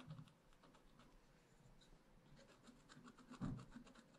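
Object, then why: Wax-coated scratch-art paper scratched with a wooden stylus. A wooden stylus scratches the coating of black wax-coated scratch-art paper in a spiral-bound pad, working around a drawn raccoon and along the page edge. Soft, dry scratching strokes run steadily through the clip, with one louder, firmer scrape near the end.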